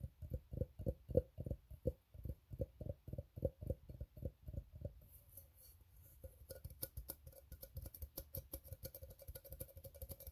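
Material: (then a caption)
Steel. Fingertips tap rapidly on an empty, open, ribbed steel tin can, hollow with its inside visible, giving a run of short, dull knocks with a faint hollow ring around 500 Hz. After a brief quieter stretch, fingernails scratch across the ribs in a faster, denser patter with bright, high-pitched clicks mixed in.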